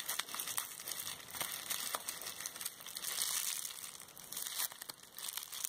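A small balled-up wad of clear plastic bubble wrap with hollow air bubbles is squeezed in one hand with long red nails, close to the camera. It gives continuous bright crinkling and crushing, dotted with sharp crackles over a hissy high-frequency wash with almost no low end. The crackles die instantly, with no ring.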